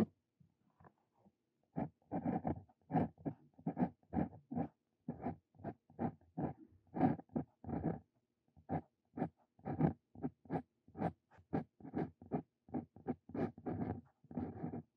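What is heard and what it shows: A hand writes a new line on lined paper with a Brause Cito Fein steel dip pen nib, the nib scratching across the paper surface. A quiet, rapid series of short, dry, scratchy strokes sounds with brief pauses between them and no ring after each stroke.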